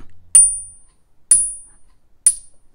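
A fake silver proof coin is whacked three times in a Money Metals Pocket Pinger coin tester, giving three short, high, thin pings that die away quickly. Its ping is nothing like the ring of real silver, and it is judged fake.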